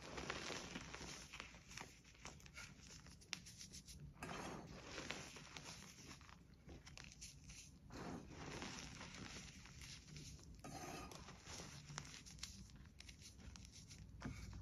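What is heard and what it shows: Bare fingertips dig into a loose pile of crushed mint-green gym chalk (magnesium carbonate) powder in a shallow plastic tray, grabbing handfuls and squeezing and rubbing them. The result is a steady run of soft, squeaky crunching and gritty rustling, with brighter crackly bursts as the powder is pressed, all at a quiet, close level.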